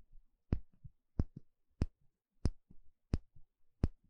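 A small, shallow, empty bamboo bowl held in one hand has its inner surface poked and scratched with a thin plastic pick. Six sharp taps land at a steady pace, each with a low, dull thump and a bright clicky top. Softer, quieter scratching scrapes fill the gaps between them.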